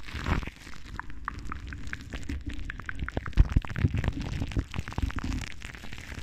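Long dark nails on both cupped hands scratch around the hollow metal wire-mesh grille of a large silver microphone. The result is a dense run of close, dry scratching and crackling with heavy low-end rumble and short, bright clicking ticks.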